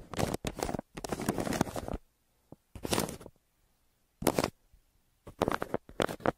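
A hand scratches a crumpled brown kraft paper mailer resting on a table with a yellow wooden pencil in repeated strokes. Dry, crackly scratching bursts sweep from low to bright, separated by short silent gaps. The bursts cut off abruptly with no ring.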